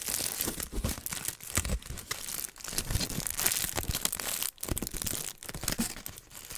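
A crumpled aluminium foil sheet wrapped around the top of a microphone is held in hand and crinkled and squeezed by fingertips. Dense, bright crackling crinkles run almost continuously and very close up, broken by a few brief dips in loudness.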